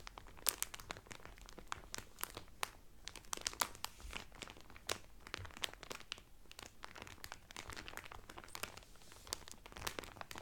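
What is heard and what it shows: Both hands press and slide their fingertips and nails over the clear cellophane wrapper on a folded Carnival Cruise cotton towel. The result is a steady stream of quick, bright crinkles and sharp crackling snaps, each dying away almost instantly, over a faint low rustle at a soft level.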